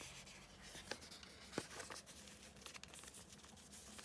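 Fingertips with long manicured nails fold, crease and rub a small, thin, hollow floral-print folded paper envelope resting on a green cutting mat. The result is a quiet, bright papery rustling and scratching, with two sharper crisp crinkles standing out early in the clip.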